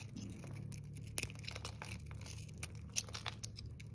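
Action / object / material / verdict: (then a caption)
scrape / bar of soap cut with a metal blade / soap / none. A metal blade scrapes and cuts thin slices from the edges of a solid green bar of dry soap held in fingers, scattering shavings. Quick, dry scraping and crisp slicing clicks with high, bright crackle sit over a steady low hum, and several sharper snaps stand out.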